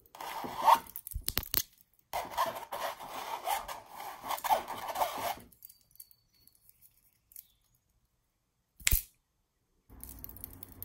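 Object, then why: Stretched canvas print. A long acrylic nail scratches and taps the textured surface of a red mandala stretched-canvas wall art print. Dry, rasping scratch strokes centered in the midrange come in bursts over the first five seconds. They are followed by near-silence, a single sharp tap, and then a soft, low rubbing at the end.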